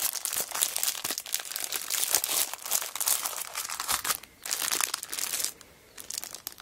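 Fingers with long nails crinkle and press the cellophane wrap on a plastic-wrapped kraft paper notebook, first held and then laid flat. Dense, bright crackling with many sharp clicks comes in bursts, with brief quieter pauses near the 4.3 and 5.6 second marks.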